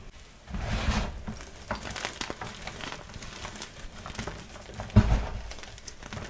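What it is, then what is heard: Crushed gym chalk powder. Two bare hands press into a plastic bin of crumbled white gym chalk (magnesium carbonate) with pink glitter, rubbing and squeezing the loose powder and small chunks. Soft, dull crunching and crinkling rustles continue throughout, with a low, muffled body, and one louder crush stands out near the end.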